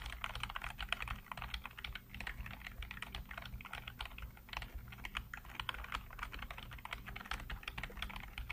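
Fingertips type rapidly on a black plastic backlit computer keyboard, producing a dense, steady stream of short, crisp clicks and clacks. Each keystroke is brief, with a bright, papery snap over a soft low background hum.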